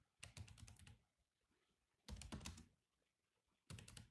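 Fingertips of both hands type on a grey laptop keyboard with black plastic chiclet keys. Three quick bursts of clicky taps, each with a low thud and a bright click, are separated by short pauses.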